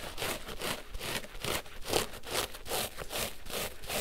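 A large, porous pink synthetic foam sponge, soaked and covered in soap lather, is squeezed and squished with both hands and fingertips over a basin of suds. About nine wet, bubbly squelching and scratching bursts repeat at a steady, slightly uneven pace, each a broad, hissy crackle with a bright top end.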